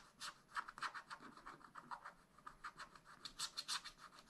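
A wooden stylus scratches across a black wax-coated scratch-art sheet in a spiral-bound pad. It makes a quick, uneven series of short, dry scraping strokes with a rasp centered near 1.3 kHz and bright, hissy highs. The scratching is quiet, and each stroke dies away almost at once.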